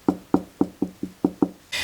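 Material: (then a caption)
Gypsum board. Seven quick knocks on a hollow section of drywall between studs, already confirmed stud-free with a stud finder, give a hollow, resonant thud that rings briefly after each hit. The clip ends on a short burst of broadband noise.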